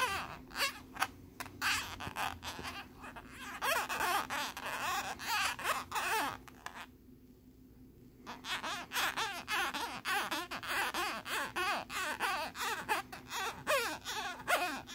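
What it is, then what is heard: Plastic lenticular card. A metal bobby pin scratches across a thin plastic lenticular card with a nebula image, making rapid, repeated scraping strokes. Each stroke has a squeaky, whining pitch that rises and falls around 770 Hz, with bright, raspy upper tones. The scratching stops briefly near the middle of the clip, then resumes just as busily until the end.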